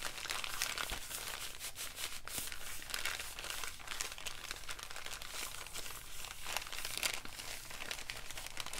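An empty, folded brown kraft paper bag is squeezed, crumpled and rubbed between both hands. The result is a steady, bright crinkling and rustling that runs the whole clip, with small crisp crackles over a low background rumble.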